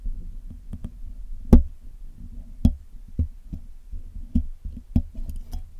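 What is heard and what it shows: A steel hook pick and tweezers pick at the wires of the black hollow metal mesh grille on a Blue Yeti microphone while cleaning it. The result is a run of short, dry clicks and taps, some with a bright tick on top, over a soft low scraping rumble.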